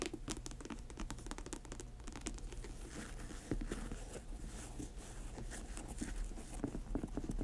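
Long acrylic nails rapidly tap and scratch the glossy upper of an upright grey patent leather high-top sneaker. A quiet, dense patter of light clicks mixes with scratchy rustling over a low, steady rumble, and each tap fades quickly.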